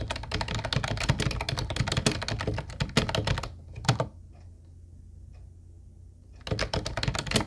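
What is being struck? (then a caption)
Plastic keyboard with round keycaps. Both hands tap with their fingertips on an Ubotie mint-blue plastic retro keyboard with round white keycaps, making a fast run of short clacky keystrokes with a low thump under each press. The typing runs for about three and a half seconds, gives a couple of isolated taps near four seconds, then stops for a quiet pause with a faint low hum. It resumes in another quick burst at the end.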